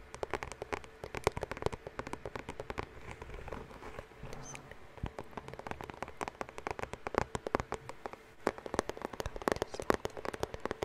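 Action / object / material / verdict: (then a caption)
tap / cardboard bandage box / cardboard / none. Fingertips and nails tap and scratch across the surface of a white Band-Aid bandage box, likely hollow cardboard, held up close to the microphone. Rapid, irregular dry clicks and taps with almost no ring sit over a soft scratchy rustle, with a hollow midrange tone around 400 Hz.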